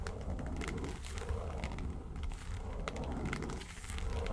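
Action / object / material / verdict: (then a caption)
scrape / small faux-leather makeup case / faux leather / none. Long nails scratch and tap across the lid of a small, hollow, yellow textured faux-leather makeup suitcase. The result is a steady, low, rumbling scrape, dotted with short, bright ticks from the taps.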